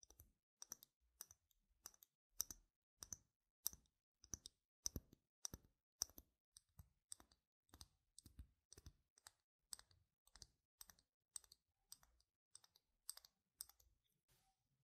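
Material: Plastic.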